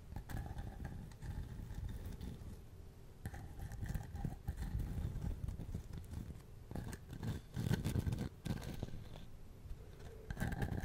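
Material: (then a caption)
Wood. Long nails scratch and tap the rough bark of a short, hand-high log section, held in both hands, that looks like a hollow wooden container. The result is a steady, soft, low, dry rustling scratch with brief, quick-fading taps and a few louder bursts of scraping.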